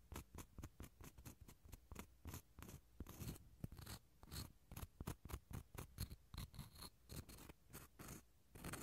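The fibrous interior of a small, hollow dried gourd shell half, held close to the mic, is scratched with a wooden toothpick. It makes a quick, steady series of short, dry scratching strokes, each with a soft hollow low body and a brief bright rasp that stops with no ring. The result is quiet, close, crackly texture.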